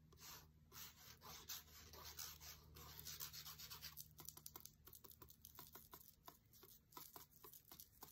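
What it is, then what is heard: Paper book page tapped and scratched with a wooden skewer. A thin wooden skewer scratches rapidly across the glossy paper page of an open cookbook, near the text on a page showing a photo of drinks, making a dense, bright, dry scratching for the first four seconds. It then switches to a run of quick, crisp taps on the page, each a short papery tick with almost no ring.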